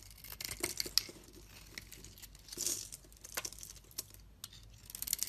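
A solid purple soap bar held in the hand is shaved continuously with a metal utility-knife blade, peeling off flakes and curls. The scraping is dry, crisp and high-pitched, with quick, uneven cuts and small crackles, plus a louder, longer shave near the middle.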